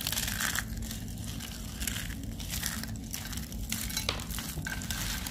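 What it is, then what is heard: Dry soap curls being crushed. Two bare hands crush and squeeze a pile of thin, dry pale-green soap curls and shavings in a white tray, pressing them between fingers and palms. The result is a steady, dense crunching and crinkling with bright, crisp crackles over a low rumble, swelling in short bursts throughout.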